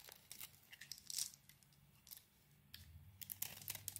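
A utility knife blade scrapes and carves shavings from a handheld solid oval bar of soap, which has a grey-green outer layer over a blue swirl interior. Quiet, bright, crisp scraping and crackling strokes come in bursts, with a faint low hum underneath.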